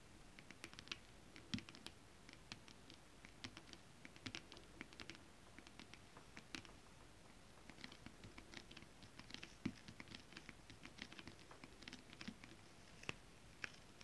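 Long acrylic nails on both hands tap quietly across a flat, iridescent holographic mermaid scale-print foil stretch fabric. The result is a steady, irregular patter of light, crisp clicks with a bright, dry edge and almost no ring, over a soft low hush.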